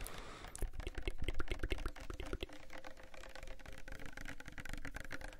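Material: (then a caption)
Plastic. A small pink Sagrotan plastic hand soap bottle, apparently filled, is tapped rapidly with fingernails and fingertips. The result is a quick, uneven run of soft clicks and dull, low thumps with very short decay, louder in the first two seconds and then settling into lighter, steady tapping.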